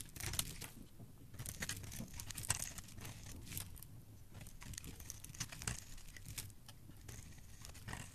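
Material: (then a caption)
Soap. A palm-sized bar of solid, dry yellow soap is held in the hand and scraped along its edge with a metal blade, dropping flakes onto the pile below. Dense, crisp scraping and crumbly crunching come in bursts of bright, rasping texture over a low rumble, with quick clicks as flakes break away.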